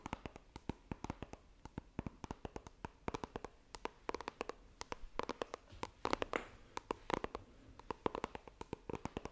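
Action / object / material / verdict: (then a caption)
tap / small coated-cardboard phone box / cardboard / none. Long painted nails tap and scratch the lid of a small, hollow white iPhone retail box made of coated cardboard, held flat in both hands. Dozens of quick, dry, hollow clicks scatter unevenly across the clip, with a brief brushing scratch just past the six-second mark and a few brighter, louder taps near the end.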